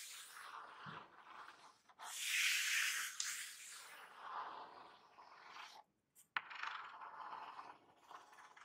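A long painted fingernail scratches and traces across the printed surface of a large flattened corrugated cardboard shipping box with a printed label, lying on a white surface. Dry, hissy scraping and rubbing strokes rise to a louder, brighter scratch burst around the second and third seconds. After a brief silence there is a sharp tick, then the scratching resumes.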